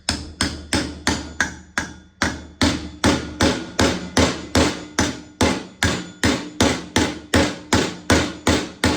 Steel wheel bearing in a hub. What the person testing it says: you can hear that's now seated